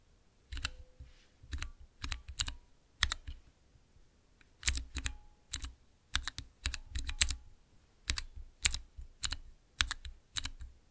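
Fingertips type on a small, clear plastic 9-key mechanical keypad with Cherry MX switches, pressing its keys in quick bursts. Each press gives a sharp, bright click over a soft low thud. The clicks die away almost at once, with a short quiet pause near the middle of the clip.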